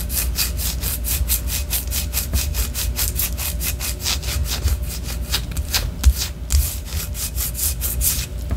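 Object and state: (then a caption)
Wax pillar candle. A white solid wax pillar candle, held upright and then sideways, is scratched with long orange nails. Quick, even strokes of bright rasping follow one after another throughout, over a steady low hum.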